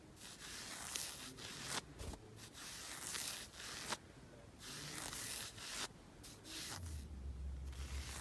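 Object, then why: Knit fabric sock on a leg. Fingertips and nails scratch and rub a black knit fabric sock worn on the foot and lower leg, the soft fabric stretched over the leg. Irregular bursts of bright, hissy scratching and rubbing come and go with short quieter gaps between strokes. A low steady rumble joins in near the end.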